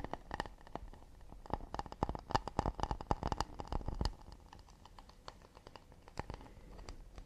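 A round, hollow, empty acacia wood plate is held in the hands and tapped and scratched quickly with fingertips and nails on its back and rim. Fast, irregular dry taps with a low, hollow thump and a brief woody ring come in dense bursts for the first four seconds. Softer, quieter scratching and scattered taps follow.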